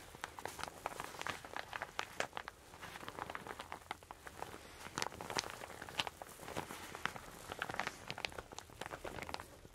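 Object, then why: Satin fabric shower cap. A soft, hollow, empty teal satin shower cap is held close and scrunched and rubbed between fingertips and long dark-painted nails. The result is a quiet, continuous run of bright, crinkly fabric rustles and sharp little crackles with almost no low end.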